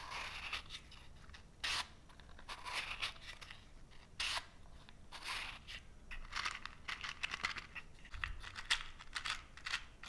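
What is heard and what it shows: A small cardboard matchbox full of wooden matches has its drawer slid open and then closed while fingertips slide over and scratch the cardboard box and drawer. The sound is a quiet run of dry, bright scraping and rubbing strokes. Several louder bursts of scratching stand out between softer rustling passages.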